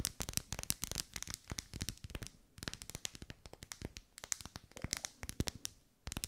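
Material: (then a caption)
Wax. Long pale almond-shaped nails tap and scratch along the vertical ribs of a lit, hand-sized pink pillar candle of solid wax held in both hands. The result is a rapid, uneven run of sharp, bright clicks and dry scratches that die away almost instantly, with brief lulls near the middle and just before the end.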